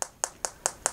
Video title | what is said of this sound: Time to Unbox the LG V20 | it sounds like metal kind of feels like metal